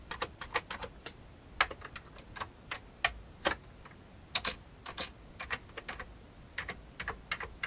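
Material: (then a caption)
Plastic. Fingertips of one hand tap the keys of a full-size old beige plastic computer keyboard with a hollow plastic case. About thirty light, bright clicks come in an uneven typing rhythm, each dying away almost at once with little low-end weight.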